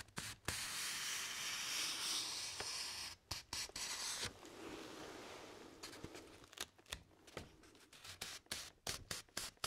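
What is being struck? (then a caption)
Thin paper sheet. Fingertips and nails scratch and rub along the top edge of a single thin sheet of white printer paper held upright. Long, bright, hissing rubs give way to a softer, duller stroke, then a run of quick, sharp, uneven scratches in the second half.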